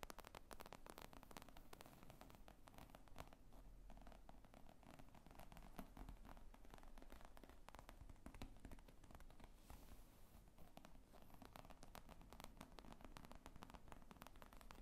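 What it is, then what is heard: Leather briefcase. Long nails scratch and tap across the top of a black leather zippered briefcase lying flat, its hollow, padded body giving a soft, muffled response. The sound is a quiet, dense stream of rapid scratchy clicks and rustling taps with a dull low thump under them and little ring.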